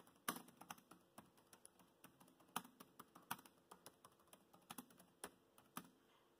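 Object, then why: Plastic laptop keyboard. Fingertips of both hands tap the black plastic chiclet keys of a grey laptop keyboard in continuous typing. About 22 quick, crisp clicks come at an uneven pace, each dry and bright with almost no ring. The overall level is quiet.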